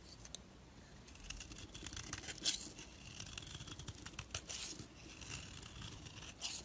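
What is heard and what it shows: A solid orange soap bar held in the hand is shaved with a blade, giving a run of quiet, bright scraping and crisp tearing sounds as curls peel away and fall off. The strokes blur into a continuous rasp with sharper bursts throughout.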